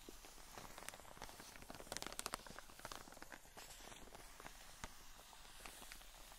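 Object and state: Plastic-wrapped cotton wool pack.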